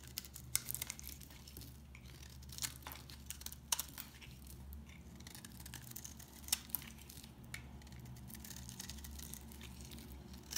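A blade slices brittle flakes from the edge of a dry, solid mint green soap bar. Bright, crisp crackles and sharp clicks scatter irregularly over a quiet, steady low hum.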